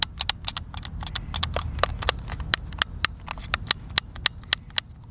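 Fingertips tap and click the buttons of a hand-sized, hollow white plastic Xbox controller held over a picnic table. Quick, irregular, very short plastic clicks with a bright, high snap ring out over a steady low rumble. Each click cuts off almost instantly.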